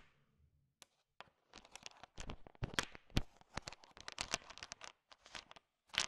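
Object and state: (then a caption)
Hard-shelled candies stirred in a bowl. A thin wooden stick stirs and sweeps through a heap of small, hard, sugar-shelled peanut M&Ms filling a bowl. After a faint low rumble, dense bursts of bright, crunchy rattling and scraping clatter follow in quick clusters, each dying almost instantly. The result is a busy crinkling, crackling texture as the candies mix.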